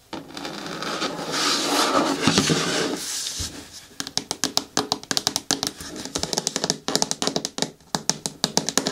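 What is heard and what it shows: Long nails work over a hollow, green hard plastic bin with a lid, tapping its sides and the corner near the handle. A steady, bright rustling sound runs for about four seconds, then gives way to a fast, uneven run of sharp, hollow clicks with a low body tone. Each click dies away almost at once.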